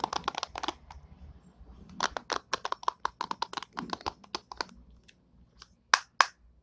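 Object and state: Plastic hairbrush bristles.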